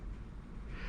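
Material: Nothing is struck.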